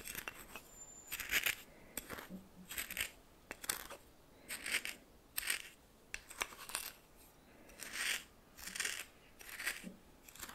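A red plastic spoon stirs coarse salt in a small bowl, making bursts of dry, bright, gritty scraping and crunching. The grainy strokes come at an uneven pace, separated by short quiet gaps.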